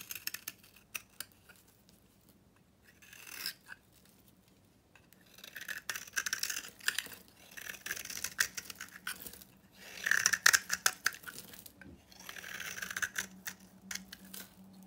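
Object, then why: Bar of soap. A utility knife blade carves a solid, super dry, old red-pink painted soap bar held in the hand, sending flakes flying. Bursts of crisp, bright scraping and shaving come in irregular runs separated by quiet pauses. A faint steady low hum sits underneath.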